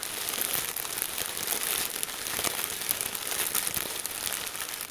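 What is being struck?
Plastic zip bag filled with crinkle-cut paper shreds.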